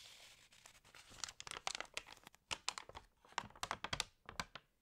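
Long nails scratch and fingertips turn and crinkle the wavy pages of an open, water-damaged glossy paper fashion magazine. A soft, papery hiss at the start gives way to a quick series of dry, bright crackles and crisp scratches that stop abruptly with almost no ring. The sound stays quiet overall and is mostly high-pitched, with little low end.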